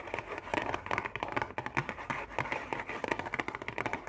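Long painted nails rapidly tap and scratch a hollow, printed-cardboard Oreo cookie box with cookies inside. The result is a fast, dense run of dry, clicky taps mixed with brief scratchy strokes. The sound is mid-pitched and papery, with little low end and almost no ring after each tap.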